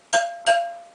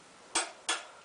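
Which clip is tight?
The first.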